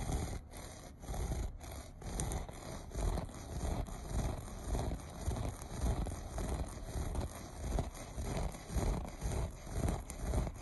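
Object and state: Looped carpet being scratched.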